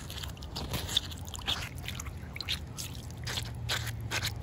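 Short white nails scratch and tap across a rough, solid, wet outdoor concrete slab. The result is a quiet run of gritty, bright scrapes and light taps with brief bursts of high hiss, over a steady low rumble.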